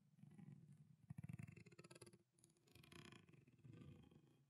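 A small, clear, thin plastic water bottle with water inside is gripped in a fist, squeezed and crinkled while nails tap on it. The result is a low, rumbling crackle, with a burst of quick, sharp taps in the middle, a brief lull, and then more steady crinkling.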